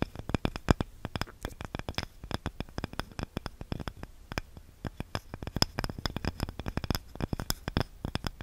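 Long nails scratch and tap a small, light, solid wooden cutting board with a handle, close to the mic. A rapid, uneven run of sharp, dry clicks with no ring, each with a low thump underneath and a faint bright edge, over a soft low rumble.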